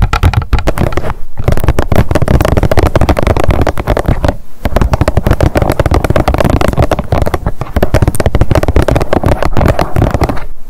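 Long nails tap fast on top of a partly filled blue plastic squeeze tube of sunscreen lying on a fluffy mat. The result is a dense, rapid stream of dull, low-weighted clicks and thuds that die away almost at once. The tapping breaks off briefly a few times before resuming.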